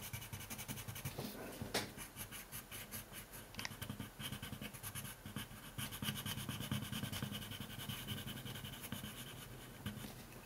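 A wooden colored pencil held in the fingers is rubbed and scratched back and forth across a thin printed coloring sheet lying on a wooden table. The result is a quiet, steady stream of dry, papery scratching strokes with bright rasping detail, sitting over a soft low background hum.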